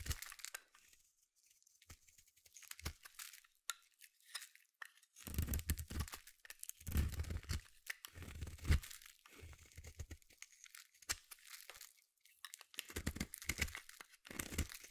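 A small metal blade cuts chunky flakes off the end of a palm-sized solid blue bar of soap held in the hand. Soft crunchy, tearing scrapes come in bursts with a dull low thud, separated by quiet pauses, with longer, denser cutting strokes in the middle of the clip.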